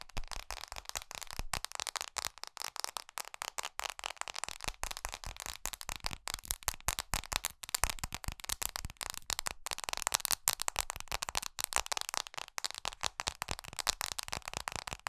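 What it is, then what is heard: Fingernails tapping a glass phone screen. Long glittery pink acrylic nails tap quickly and rhythmically on the glass screen and metal edges of a small black iPhone SE held in both hands. The sound is a dense, steady stream of sharp, dry clicks, bright and crisp, with each tap dying away almost instantly.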